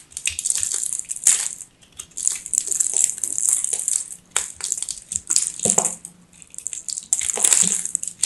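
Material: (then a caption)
Soap. A hand-sized solid ball of dry, crumbly teal soap with purple flecks, held in one hand, is carved and scraped with a craft knife blade by a hand with long grey nails. Bursts of bright, crisp crunching and scratchy scraping rise and fall in waves, separated by brief quiet gaps. The sound is high and hissy, with almost no low end.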